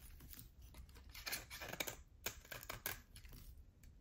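A utility knife blade scrapes a solid cream bar of soap with a thin dark edge, held in the hand, until the bar is left bare. Quiet, dry, crackling scrapes come in irregular bursts, bright and hissy, each stroke fading almost at once over a faint low rumble.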